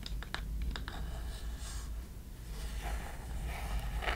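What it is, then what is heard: Small wooden box. Long nails tap and scratch a small hollow wooden chest box with metal clasps, held close up. Sharp clicky taps come first, then softer scratching and rubbing, all over a steady low hum.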